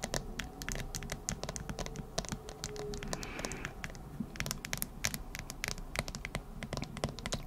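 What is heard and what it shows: Long acrylic nails tap rapidly on a smartphone in a hard plastic case with an anime-print back. The result is a steady stream of quick, dry, bright clicks with almost no ring, over a low, steady background rumble.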